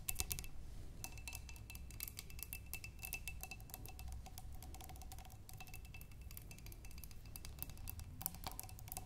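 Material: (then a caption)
Glass. Long nails tap and scratch both sides of a clear glass vase partly filled with water, with tulip stems inside. Quick, dense clicks and brief scrapes come over a low, steady hum, with a faint bright ring that comes and goes.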